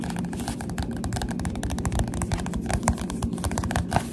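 A Goosebumps paperback book with a glossy cover is held upright while the fingertips of both hands tap its front cover. The result is a fast, continuous stream of soft, muffled taps, mostly low and dull with short clicky tops that die away almost at once.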